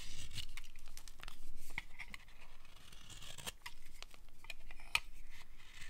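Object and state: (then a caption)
Dry bar soap being carved. A utility knife blade cuts along the edge of a solid, dry, pale green bar of soap held in the palm. It makes a steady run of crisp, bright scraping and crackling shaves, with a sharp click near the end.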